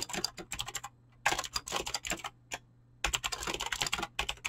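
A full-size mechanical keyboard with clicky Razer green switches and dyed PBT plastic keycaps, sitting on a desk, is typed on fast with fingertips and short nails. Rapid, bright, crisp key clicks come in dense bursts separated by brief silent pauses.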